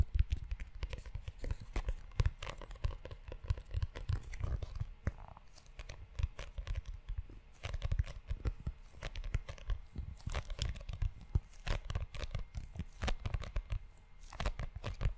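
Fingertips and short nails tap and scratch the cover of a tan, book-sized leather notebook held close to the mic. The result is a steady flurry of soft, dull low thumps with brief, crisp scratchy rustles running through the whole clip, each tap dying away almost instantly.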